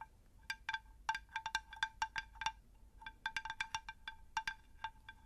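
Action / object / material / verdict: tap / ceramic terracotta pot / terracotta / none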